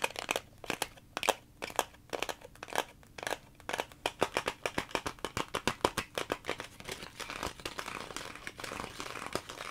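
A clear plastic clamshell blister package is held close and tapped and scratched with fingernails. It gives a dense run of sharp, crinkly plastic clicks, with taps at first and a more continuous scratching rustle toward the end.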